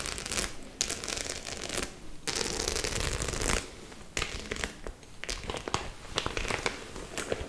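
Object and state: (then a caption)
Studded faux leather clutch bag. Long acrylic nails tap and scratch across the silver and black metal studs of a flat, hollow white faux leather clutch bag held up close. Sustained bright, crinkly scratching runs in bursts with short pauses, dotted with sharp clicking taps that die away almost at once.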